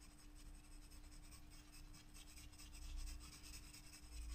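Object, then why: Graphite pencil on a paper sketchbook page. A graphite pencil shades a white paper page in a spiral-bound sketchbook with rubbing strokes, with a loose sheet lying under the resting hand. Soft, dry scratchy rasps come in quick, uneven strokes with bright, hissy texture over a steady low hum and rumble, growing slightly louder toward the end.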